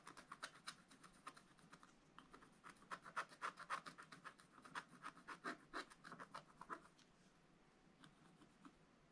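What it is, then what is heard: Scratch-art paper being scratched. A wooden stylus scratches dense strokes across a black-coated scratch-art paper page on a bunny figure, the book held flat on a table. Quiet, rapid, crisp scratches come in an uneven run, loudest in the middle of the clip, then thin out toward the end with only a few light strokes.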